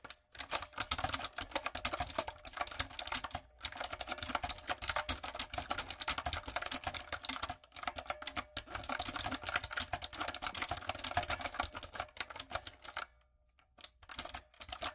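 A backlit plastic typewriter-style mechanical keyboard with round retro plastic keycaps and a hollow body is typed on with long coffin nails and fingertips. Fast, dense bright clicks and clacks run in bursts, with brief pauses near 3.5 and 8 seconds and a longer silence around 13 seconds before a few final taps.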